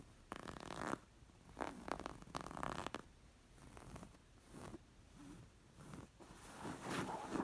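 Long nails scratch across the embroidered stitching of a square, coral, stuffed linen cushion. The result is a series of soft, raspy scratching strokes separated by quiet pauses, with a gentle, low-level, close-up texture.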